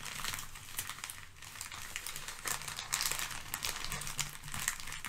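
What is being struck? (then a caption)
Crumpled kraft packing paper. Crumpled sheets of thin brown kraft packing paper rest on a fluffy rug and are handled with fingertips and long painted nails, crinkled, shifted and pressed flat. A continuous, bright crackling fills the clip with sharp crisp snaps over a soft low rustle, with no clear break between the many small crinkles.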